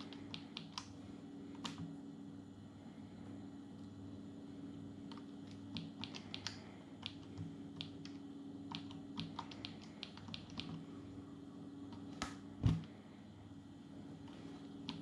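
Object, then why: Plastic palmtop computer keyboard. Fingertips type on the plastic keys of a small dark plastic Atari Portfolio palmtop computer resting on a wooden table. Quiet, bright key clicks come in irregular bursts over a steady low hum, with one louder, duller thump near the end.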